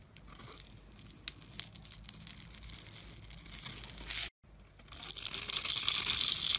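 A metal blade scrapes and carves a solid, opaque bar of blue and white striped soap held in the hand, throwing off white powder and small cubes. Dry, bright crackling and crisp ticks run through the first four seconds, then stop briefly. The scraping returns as a louder, denser, hissing shave.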